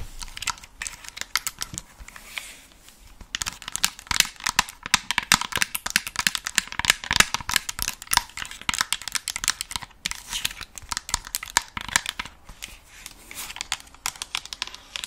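Long acrylic nails tap and scratch the hollow earcups of a white and black plastic over-ear gaming headset held in both hands. A dense stream of quick, bright clicks and crinkly scratches runs throughout, with a brief lull near the start before the tapping picks back up.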